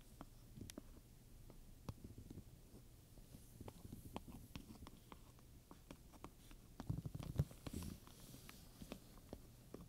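Long-nailed fingertips rub and scratch a large, soft, hollow black pebbled leather purse covered in domed chrome metal studs, while a wooden pointer taps and traces the studs. Quiet, low, rumbly scratching runs under frequent short, sharp ticks that come irregularly, about two per second. A couple of louder taps stand out near the seven-second mark.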